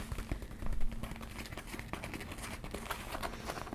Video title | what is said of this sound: ASMR * Theme: Capsule Wardrobe Part 1 Soft Spoken * Tapping & Scratching * Fabric Sounds * ASMRVilla | it makes some great sounds